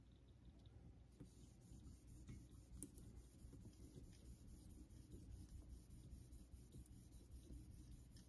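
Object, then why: Synthetic whetstone with steel razor. A vintage Geneva Cutlery steel straight razor is stroked back and forth along the wet surface of a flat, rectangular, pale Naniwa Super Stone synthetic whetstone clamped in a holder over a steel sink. The result is a quiet, steady, low-heavy rubbing and scraping with soft faint ticks as the blade passes.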